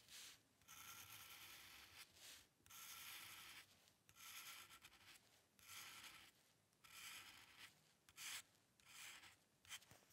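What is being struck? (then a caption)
Paper sheet under a metal dip-pen nib. The metal nib of a dip pen scratches across a flat sheet of white drawing paper resting on a dark table, drawing long ink lines. Each stroke makes a bright, dry, papery rasp, with strokes of varying length separated by brief quiet pauses. The sound is thin and high, with almost no low end.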